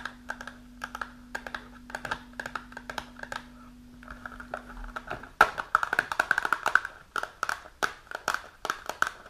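Long nails tap and scratch the top and front of a small printed cardboard supplement box held upright. Quick, dry clicks come in rapid clusters with almost no ring, over a faint low steady hum for the first five seconds. After that, the hum stops and the tapping turns louder, denser and more scratchy.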